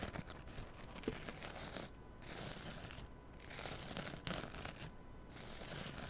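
Long nails scratch the rough abrasive side of a small green scouring pad on a kitchen sponge held right against a mini mic. The sound is a dry, bright, raspy scratching that comes in steady bursts with brief quieter pauses between strokes.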